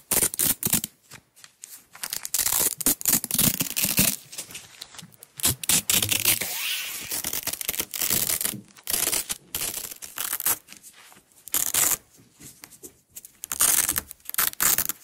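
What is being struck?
Nylon hook-and-loop tape roll.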